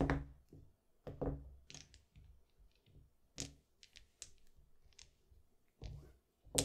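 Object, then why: Plastic mahjong tiles on felt. Small solid plastic mahjong tiles are picked up in small stacks with the fingertips, set down on green felt and clicked together into a row. About seven soft, muffled thunks land with short bright clicks and a little low body, each dying away almost at once, with faint light tapping between them.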